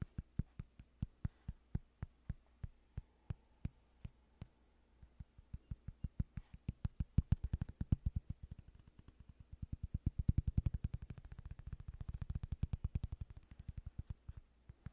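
Fingertips tap and scratch the surface and edges of a thin, solid cork coaster held close to the microphone. Dull, dry, low thumps come in a sparse, steady pattern at first, then turn into quicker, denser tapping. The tapping grows louder and more crowded before easing into lighter scattered taps near the end.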